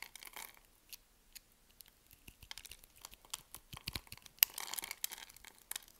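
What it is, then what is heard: Bar of soap being cut. A hand-sized solid pink bar of SULU soap, held in one hand with long nails, is scored in a grid with a metal blade so small cubes break off. Soft, crisp scraping and cutting clicks dominate, with a sharp snap near the middle of the clip and a denser crumbly crackle after it.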